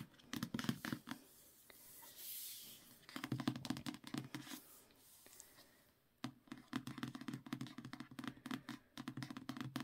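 Fingertips and short nails tap and scratch across the matte card front cover of the trade paperback book "A Winter's Promise," a solid paper block held in both hands, before it is tilted toward the spine. Quick, dry taps with a low-mid hollow thud come in dense bursts separated by softer brushing scrapes and brief quiet pauses.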